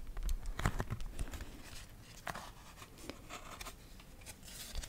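A small children's board book of thick laminated cardboard, with a green and purple illustrated cover, is held close to the microphone while long nails scratch and tap its glossy cover. Soft, quick scratches and light taps come in an uneven patter with a low, close-up rumble and brief bright edges.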